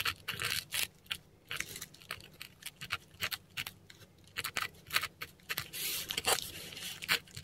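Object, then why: Korean paper sheet with a metal pen nib. A metal dip pen nib scratches Latin letters in ink across a flat, textured Korean paper sheet. Many short, bright, dry scratching strokes come in quick bursts separated by brief pauses, with a faint steady low hum underneath.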